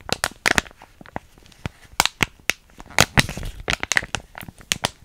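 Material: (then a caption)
Plastic foil. A small, flat, sealed plastic foil hair mask sachet (PS Biotin), still filled, is held in both hands close to the microphone and crinkled and scratched with long nails. The result is a series of sharp, bright crinkling crackles and scratchy clicks that die away almost instantly, spaced by short quiet gaps with a denser cluster in the middle.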